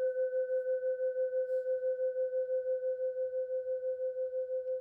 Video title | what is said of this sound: The never ending bell tolls - (well at least two minutes) | It's a bronze bell with a sort of hoof thing here. Just listen how long it rings for.